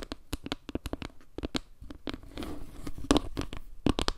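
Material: Wood.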